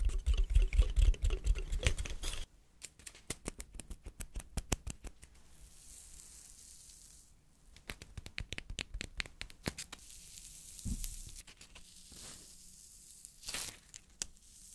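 A large, dry brown pine cone with woody scales is held beside a microphone while fingertips scratch and flick across its scales. The first two seconds are loud, dense crackling with a heavy low thump. After that come quieter, rapid dry clicks and ticks with brief bright rustles, each one dying away almost instantly.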